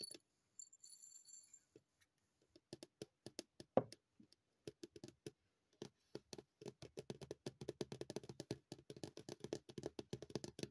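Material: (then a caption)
Plastic. A hollow, small white plastic cosmetic bottle with a printed label is held upright and tapped with long purple nails. Sparse, quiet, dry clicks come at first, then speed up into a rapid, steady patter of short, hollow taps. Faint bright hissing is heard during the first couple of seconds.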